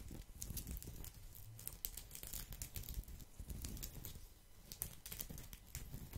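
A round, flat, thin woven straw or rattan placemat held beside the microphone is scratched and rubbed with fingertips and nails. The result is a dense, quiet run of crackly, crinkling scrapes with bright, short-lived clicks over a low rumble.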